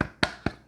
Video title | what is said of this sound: Lervig - Nitro Peanut Better (Stout with peanut butter in the can!) - HopZine Beer Review | You feel it, you can even hear it. It's not hollow.